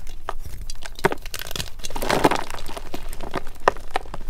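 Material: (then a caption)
Magnesium carbonate. Solid white, palm-sized MagKing gym chalk blocks (magnesium carbonate) are squeezed and crushed between fingertips and thumbs in a glass bowl, with several blocks of the same chalk nearby. A steady run of dry crunching and crumbling is broken by sharp, short cracks that stop almost at once. The overall tone is mostly low.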